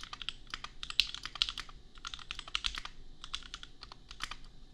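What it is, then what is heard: Mechanical keyboard typing. Fingertips of both hands type on a compact $250 custom mechanical keyboard with red/pink plastic keycaps and Gateron Milky Yellow switches. The result is a fast, uneven stream of short, bright clacks with very little low end and almost no ring.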